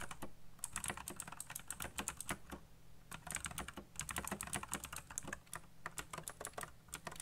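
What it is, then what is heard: Plastic mechanical keyboard. Fingertips type fast on a backlit mechanical keyboard with black plastic keycaps, making a rapid run of sharp, clicky keystrokes with bright upper ranges. The clacks come in dense bursts with brief pauses, and each one stops almost instantly over a faint steady low hum.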